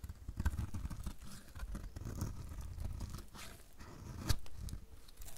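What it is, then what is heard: Dry bar soap. A metal utility blade repeatedly shaves crumbly flakes off the edge of a solid, dry pink soap bar. The result is a continuous, low, dry scraping and crunching with a tearing texture, and one sharper crunch stands out near the end.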